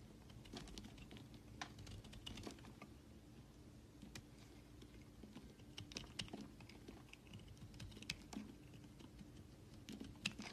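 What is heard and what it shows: A utility knife blade shaves flakes off the edge of a solid rectangular white bar soap held in the hand. The result is a quiet, rapid series of crisp, dry scraping clicks with bright edges, over a faint steady low hum.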